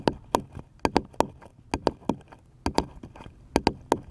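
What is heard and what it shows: Fingertips tap a small, light, solid wooden paddle-shaped piece held upright, giving 13 short, dry knocks in an uneven rhythm, often falling in quick pairs. Each tap has a hollow woody body around 270 Hz with a bright click on top and dies away almost at once.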